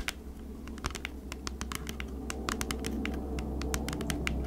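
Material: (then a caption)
Cardboard. A flat, hand-sized cardboard Bee's Wrap food-wrap package, thin, hollow and unwrapped, is held in both hands and scratched and tapped with long acrylic nails. Quick, uneven, crisp clicky taps sound over a steady low hum that grows slightly louder toward the end.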